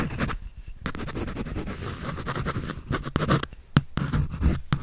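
A pencil tip scratches rapidly across a white paper drawing sheet on a sketch pad held by hand. A dense run of short, dry scratching strokes rises and falls unevenly, with a few sharper bright ticks near the end.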